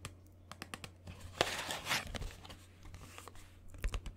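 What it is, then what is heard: Cardboard film box. A small green Instax mini film box of printed cardboard, hollow, is held in one hand and tapped and scratched with fingernails. Quick, dry clicking taps are followed by a louder burst of bright scratching and rustling. Then a few more light taps close it out, over a steady low hum.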